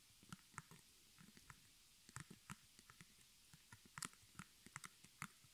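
Long nails and fingertips tap rapidly on the front of a small square white artist canvas, stretched cotton over a hollow wooden frame and embroidered in black thread with crossed arrows and the word "HOME", held up close in both hands. About fifteen quiet, irregular taps each pair a soft, hollow low thump with a bright, clicky tick. Each tap dies almost instantly against a faint hiss.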